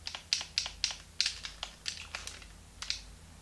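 A small, hollow, translucent pink plastic Game Boy Advance is held in both hands while thumbs and fingertips rapidly click its plastic buttons and shoulder triggers. Thirteen sharp, bright, high-pitched clicks come in an uneven rhythm, each dying away quickly over a quiet background.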